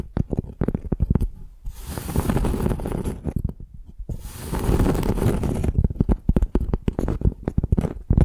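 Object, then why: Flat piece of tree bark. Long nails tap and scratch the rough, cracked, flaky outer side of a flat piece of tree bark held in both hands. Quick, dry, low taps open and close the clip, with two longer stretches of rasping scratching in between.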